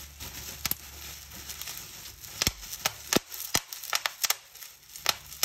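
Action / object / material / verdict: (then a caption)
scrape / plastic bubble wrap sheet / plastic film / none. Fingers with long nails pinch and pop bubbles on a clear plastic bubble wrap sheet, crinkling the film. A rapid series of sharp, bright pops cuts through a steady high rustle and crackle of plastic, each pop snapping off almost instantly.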